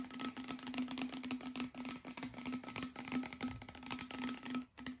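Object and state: Plastic water bottle.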